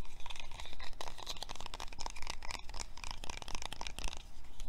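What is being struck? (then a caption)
Plastic lotion bottle. A small, hand-sized white plastic lotion bottle with a dark grey plastic cap, hollow and apparently filled, is held in both hands and tapped and scratched with fingertips and short painted nails. The result is a rapid, continuous stream of crisp, dry clicks and crunchy scratching with almost no ring after each tap.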